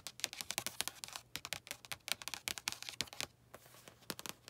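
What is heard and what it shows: Long nails give rapid fingertip and nail taps on the glossy card cover of a blue paperback book lying flat. The quiet, dry, bright clicks come in quick irregular bursts with almost no ring, pausing briefly before a few final taps.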